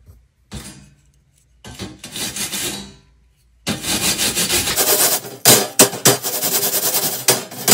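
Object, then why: Perforated metal sheet scrubbed with a plastic bristle brush. A purple plastic bristle brush is scrubbed by hand across a flat perforated metal panel. Brief raspy strokes give way to steady, bright scratchy scrubbing with a few sharper accented passes near the end.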